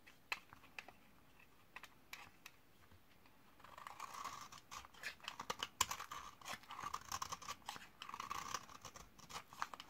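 A metal utility-knife blade scrapes the edge of a solid white 72% laundry soap bar from 2012, dried for eight years and held in the hand, shaving off dry, crunchy curls. Sparse, sharp dry clicks open the clip, then give way to denser, continuous crackling scrapes with a midrange rasp near 1 kHz and a bright, gritty top.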